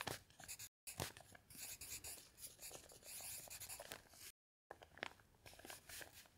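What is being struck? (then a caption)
Pencil on a thick paper notepad. A pencil writes on a thick stack of lined paper in a notepad resting on a table, while the other hand lies flat on an open dictionary. The pencil makes bright, scratchy strokes with soft taps, in quick uneven bursts broken by two brief silences.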